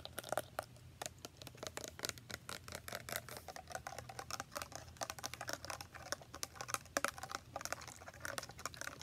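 Long nails tap fast on a tall clear plastic body spray bottle with a printed floral design, filled with orange liquid. A rapid, uneven stream of sharp, bright clicks stops almost instantly after each tap, over a faint steady low hum.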